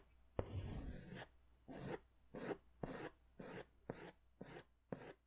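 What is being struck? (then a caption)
Paper sketch pad with pastel crayon. A green pastel crayon is scratched in repeated strokes across a large white paper sketch pad held upright, near the pad's lower edge. Eight separate raspy strokes are heard, each a bright, dry scraping burst that starts with a sharp tap. The first stroke is the longest, and the strokes are split by short quiet gaps.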